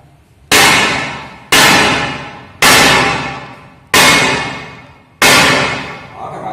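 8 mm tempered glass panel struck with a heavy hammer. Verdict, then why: Unbroken. A 5 kg hammer strikes an 8 mm tempered glass partition five times, each blow a bright clang that rings out and decays over about a second. The glass does not crack or chip, showing it is real tempered glass.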